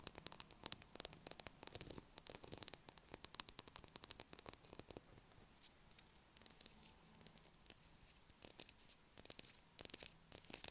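A solid blue bar of soap, first resting on a table and then held in the hand, is tapped and scratched with long acrylic nails. The sound is a quiet run of sharp, dry clicks and bright scratchy bursts. Most of the energy is high, with a faint low hum underneath and a brief near-silent pause around the middle.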